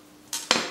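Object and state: Wet silk nail wrap, glue not yet dry.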